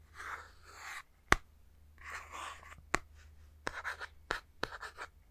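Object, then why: Plastic handheld game console. A fingertip scratches and taps the plastic back shell of a Nintendo Switch handheld console with its Joy-Cons attached, held in one hand. Soft, hissy scratching strokes alternate with sharp, dry taps that stop instantly with no ring.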